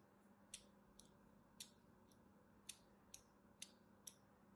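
A thin metal needle-blade scratches lines into the surface of a solid purple and white striped soap bar held in the hand. Eight short, bright, crisp scrapes come at an uneven pace over a quiet, low background hum, each one dying away almost at once.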